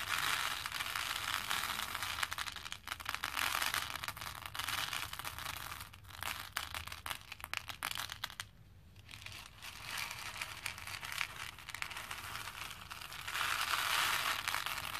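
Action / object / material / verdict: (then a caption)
drop / plastic pearl beads in a plastic bowl / plastic / none. Both hands scoop handfuls of small plastic faux pearl beads and let them pour back into a pink plastic bowl. The result is a dense, bright, continuous rattling and clattering that runs through the clip, with a brief quieter pause about two-thirds of the way through.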